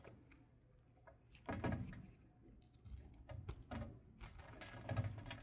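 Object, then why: Coated bar of soap carved with a knife. A red patterned knife blade scrapes and carves a solid, palm-sized light blue soap bar, partly covered in a gold metallic coating and held in one hand, as shavings fall onto a table. The quiet, low-heavy scraping comes in short rasps, with louder strokes near the middle and end.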